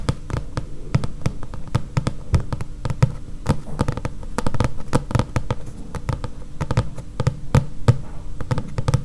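Long nails tap and scratch the glossy card back cover of a thick paperback book, up close. Many quick, irregular taps land with a dull low thud and a brief bright click, over a soft scratchy rasp. Each tap dies almost at once.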